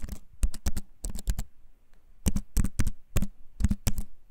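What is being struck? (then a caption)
Compact keyboard with wooden frame and plastic keycaps. Fingertips tap out a quick, uneven run of about 17 clicky keystrokes on a compact keyboard with a wooden frame and plastic keys, held up close. Each press is a sharp, dry click with a soft low thump underneath, arriving in short bursts separated by brief pauses.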